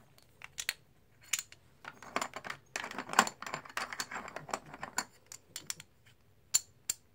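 Hands stir a loose pile of solid plastic/composite poker chips and stack black chips with fingertips and nails. The result is a brisk series of sharp, bright clicks and clatters in short bursts, each click stopping almost at once, with quiet gaps between.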